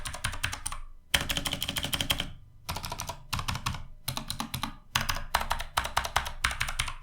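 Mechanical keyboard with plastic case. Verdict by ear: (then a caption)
Hollow. Typing on a Sades Rebellion budget full-size mechanical keyboard with a plastic case, heard as bursts of fast, bright, sharp key clicks with a low thunky body beneath, separated by brief pauses. The clicks sound loud and hollow because the inside of the case is empty, with no dampening.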